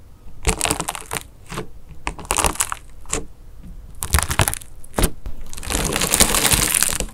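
A mint-green foam bead clay slime disk with a hardened wax crust is jabbed repeatedly with a fingertip, then pressed with the fingers of both hands, cracking the crust into pits. Bursts of sharp, bright crackling and crunching come in quick clusters and end in a longer, dense stretch of continuous crackle.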